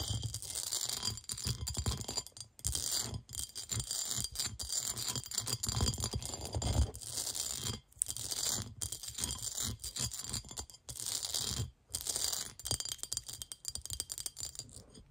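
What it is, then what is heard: Cut glass bowl scratched with nails. Long nails scratch quickly across the ridged pattern of a clear, hollow, empty cut-glass bowl and tap the glass. Dense, bright scratching rasps come in bursts, with brief silences between them and a low rumble underneath, and each tap dies out almost instantly.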